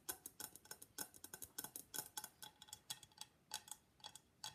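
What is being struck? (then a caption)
Papier-mâché face mask. Long black nails tap rapidly on the sides of a hollow gold-and-black Venetian face mask, likely papier-mâché, producing about 25 quick, bright, hollow clicks. Each tap is dry and dies away almost instantly, with a light tonal ring near 855 Hz.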